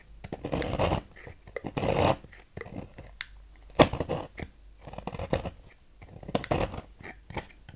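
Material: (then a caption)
Soap. A knife blade repeatedly carves a solid pink striped bar of soap on a table, cutting off crumbly shavings. The result is a series of soft, crunchy scraping bursts, with one sharp, bright click partway through, separated by quiet pauses.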